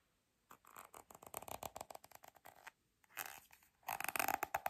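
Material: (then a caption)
Plastic. Long red acrylic nails tap and scratch a small pink plastic cosmetic squeeze tube that looks filled and is held in one hand. After a brief silence comes a quick, irregular run of dry clicky taps. Then come short scratchy, rasping bursts that end louder and brighter.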